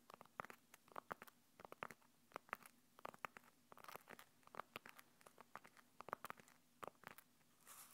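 Long nails and fingertips scratch and squeeze the mesh fabric surface of a small, hollow, black zippered hard-shell earphone case held in both hands. The result is a quiet, irregular stream of short, crisp, crackly scratches and clicks with a bright, papery tone, ending in a softer brushing swell.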